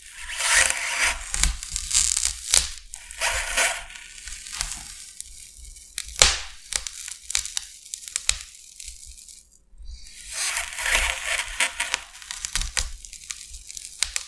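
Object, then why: Expanded polystyrene sheet scraped with a blade. The tip of a metal utility knife blade is scratched along a scored line in the surface of a large, flat, solid white expanded polystyrene (styrofoam) sheet. It produces waves of bright, squeaky, tearing scrapes broken by sharp cracks and quieter gaps, over a faint low hum.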